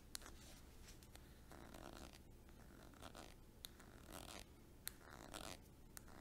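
A small white squeezable plastic tube of Mitchell and Peach body cream, hollow and partly filled, is held in one hand and tapped and scratched along its side with long acrylic nails. Soft, dry scratching and rasping sweeps are broken by a few sharp, bright clicks of the nails against the plastic, all quiet over a low rumbling background.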